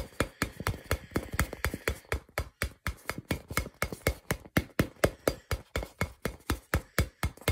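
A hand-sized hollow purple rubber or plastic ball with a white label is held close and tapped with fingertips and fingernails. About 33 short, hollow taps land in a brisk, fairly steady rhythm of roughly two per second. Each has a dull low thump with a mid-range tone and a faint bright click, dying away almost instantly.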